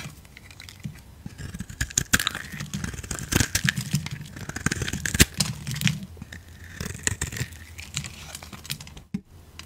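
A metal blade cuts and scrapes curls off a solid yellow bar of soap until only a small block remains. Crisp, dry shaving and scraping strokes crackle and tear in quick bursts over a steady low hum, with sharp clicks as the blade bites into the soap.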